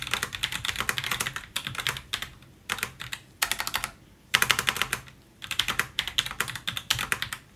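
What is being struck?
Plastic and aluminium mechanical keyboard.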